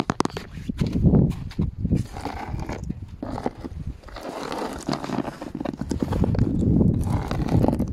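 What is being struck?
Weathered wooden plank.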